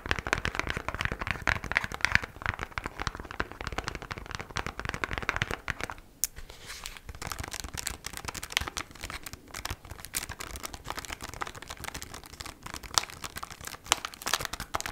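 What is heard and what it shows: Long black nails tap rapidly on kraft cardboard sleeve packaging with a window that holds beeswax wraps. The result is a dense run of dry, crinkly clicks and scratches, with a brief quieter stretch around six seconds before the tapping picks back up.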